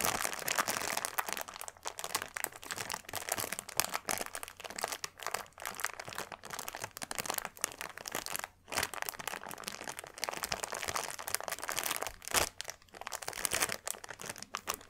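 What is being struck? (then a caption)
Plastic bag of small beads. Fingertips press and scratch across the top of a flat, clear plastic bag filled with tiny purple granules, producing a dense, bright crinkling and crackling with gritty rustles. The texture runs almost continuously for the whole clip, with a few brief pauses, including a near-silent gap just past the halfway point.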